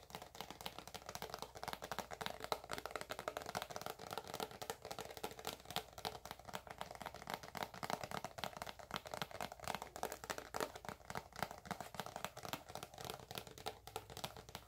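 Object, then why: Soft plastic squeeze tube of cream. Long acrylic nails tap and scratch across the label of a filled, white, soft plastic squeeze tube of moisturizing cream. A steady stream of rapid, quiet, crisp clicking taps mixes with light scratchy rustling, centered in the midrange. Each tap dies away almost at once, with no ring.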